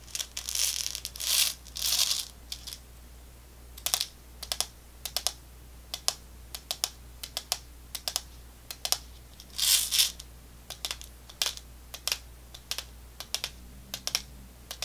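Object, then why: Small clear plastic tube of candy with a plastic cap. Long fingernails tap and scratch a small clear plastic tube with a white cap, full of candy balls, on both its plastic wall and its cap. Sharp, bright clicks come in quick, uneven runs, broken by a few longer, hissy scratching bursts near the start and middle. Each tap ends almost at once, with no ring.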